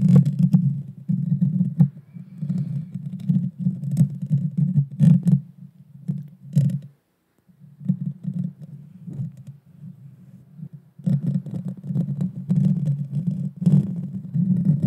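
Long dark fingernails scratch directly across the small, hollow, round metal mesh grille of a Blue Yeti Nano microphone. The result is a dense, low, rumbling scrape with sharp bright clicks poking through, and it pauses briefly near the middle before resuming more intensely.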